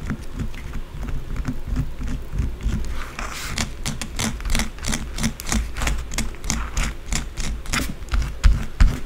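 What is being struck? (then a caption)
Bar of soap. Long blue acrylic nails scratch fast and hard at a small, solid white bar of soap whose surface is already scraped, among loose soap shavings. The result is a rapid, uneven run of dry, bright scratching strokes over a steady low rumble, with a few sharper scrapes near the end.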